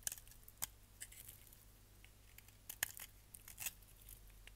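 A solid purple striped bar of soap, held in the hand, is shaved with a utility knife blade into curls and flakes. Quiet, bright, crisp scraping and crackling cuts come in short bursts, scattered irregularly over a steady low hum.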